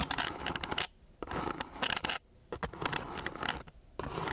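The tip of a thin wooden stick scratches across a flat, gritty sheet of coarse sandpaper. Bursts of dry, bright rasping strokes come in quick runs, broken by short quiet pauses.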